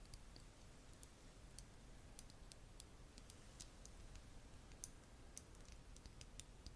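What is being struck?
Small glass bottle with plastic cap.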